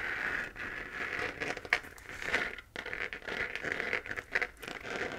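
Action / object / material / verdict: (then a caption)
scrape / 3D-printed plastic moon lamp / plastic / none. A hollow 3D-printed plastic moon lamp, lit pink, has its crater texture scratched by long painted nails. The sound is a continuous dry, crackly scratching and crinkling, brightest around 2 kHz, with quick sharp peaks and almost no low end.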